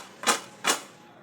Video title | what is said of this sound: काॅर्न पकोडा Corn Pakoda करा कुरकुरीत आणि चवदार मक्याची भजी बनवण्याची नवीन पध्दत 🌽 #itsmekausalya | आवाज सुद्धा छान कुरकुरीत आवाज येतो